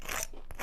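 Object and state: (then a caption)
Crispy frozen pizza crust. A baked frozen party pizza crust is scraped to show how crispy it is, giving a dry, rasping crunch with bright, crackly texture over a low rumble. The scraping runs nearly continuously, with a short sharper crack near the end, and the crust sounds crisp.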